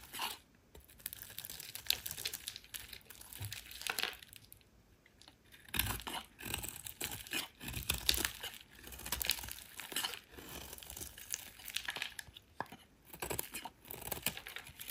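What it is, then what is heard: Bar of soap being shaved. A solid oval pale green soap bar held in the hand is shaved into flakes with a metal utility knife blade. Each stroke gives a crisp, bright scraping and crinkling sound with very little low end, coming in quick, uneven bursts with brief pauses between runs of strokes.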